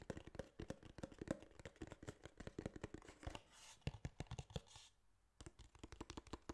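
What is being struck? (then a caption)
Small cardboard box. Quick fingertip and nail taps land on the faces and edges of a small, hollow, rigid tan kraft cardboard case, giving about 33 short, dull, hollow knocks with a low-heavy tone and almost no ring. Midway the tapping gives way to a soft, bright brushing hiss and a brief near-silent pause before the rapid taps resume.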